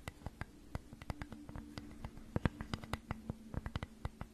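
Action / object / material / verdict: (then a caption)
tap / flat wooden flower cutout / wood / none. Long nails scratch and tap across the grooved surface of a flat, solid wooden flower cutout held in both hands. More than twenty short, dry clicks sound over a faint, steady low hum, each one dying away almost at once.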